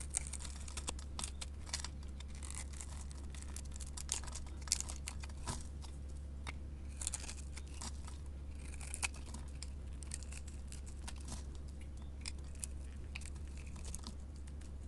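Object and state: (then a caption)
Soap bar being carved. A solid white rectangular soap bar, held in the hand, is scraped with a metal blade that cuts off crumbly cubes. Soft, dry, crunchy scraping and crumbling sounds come in quick bursts, with brief crisp clicks, over a steady low hum. The whole clip is quiet.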